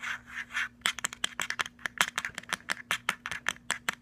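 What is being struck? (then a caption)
Plastic portable speaker with perforated metal grille. Fingertips and nails scratch softly at the round, rubbery plastic end cap of a hollow, cylindrical plastic Bluetooth speaker, then tap and scratch its perforated metal grille. About twenty quick, sharp, bright clicks follow in a fast, uneven rhythm over a faint steady low hum.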